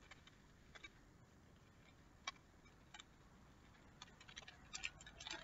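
A small clear plastic bottle full of small colorful loose pieces is held by its base in one hand and shaken or turned so the contents rattle. Quiet, sharp, bright clicks and ticks come at irregular intervals over a faint hiss, growing busier toward the end.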